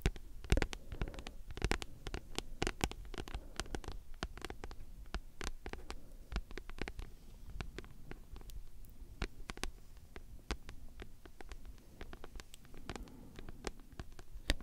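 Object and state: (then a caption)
Paperback book. Long nails scratch and tap a solid, thick paperback book with a glossy card cover. Quiet, rapid, irregular taps give short, dry clicks that spread from a low thud into a bright top, over a soft, low-heavy scratching bed with almost no ring.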